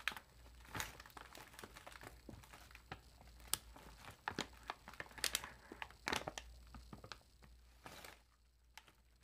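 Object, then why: Metallized plastic chip bag. A large, puffed metallized plastic chip bag is held sideways while fingertips and nails squeeze and crinkle its film. Quiet, dense, irregular crinkling with sharp, bright crackles and brief louder bursts plays over a faint steady low hum. The crinkling thins out near the end.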